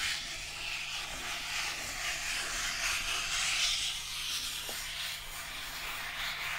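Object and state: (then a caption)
Cardboard sheet being scratched. A flat rectangular brown cardboard piece, held in both hands, is scratched and rubbed with fingertips and short nails. It makes a steady, bright, scratchy hiss that rises and falls gently throughout, with a faint low hum underneath.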